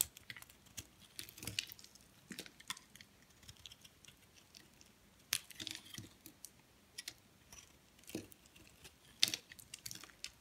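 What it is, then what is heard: Bar of soap being scraped. A metal blade scrapes and cuts flakes off the edge of a solid white soap bar held in the hand. The sound is a quiet series of crisp, bright scrapes and short crackling cuts, spread unevenly through the clip with little low end and almost no ring after each stroke.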